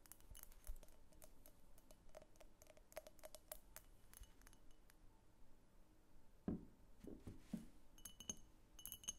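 Long painted fingernails tap a rapid run of light, bright clicks on a medium egg-shaped vase of pink opaque glass with a thick clear glass base, hollow and empty, as it is held and tilted. Midway comes a fuller, lower knock with a short glassy ring, followed by more scattered taps.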